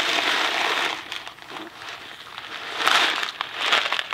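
A small Kraft mac and cheese cardboard box filled with dry pasta is held in one hand, rotated and shaken. The dry noodles give a bright, crackling rattle that is steady at first, fades to a softer shuffle, then swells again in two sharper bursts of rattling.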